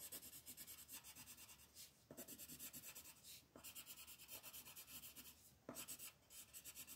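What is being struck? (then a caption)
Colored pencil on a paper page over a wooden table. A blue colored pencil is scratched and rubbed across a flat paper coloring page on a wooden table to fill in waves, while a second pencil lies still on the page. About 23 quick, even back-and-forth strokes make a soft, bright, papery rasping, with brief pauses between bursts.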